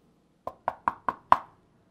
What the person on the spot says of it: listen close and you can tell that it's hard too just by the way it sounds when i knock on it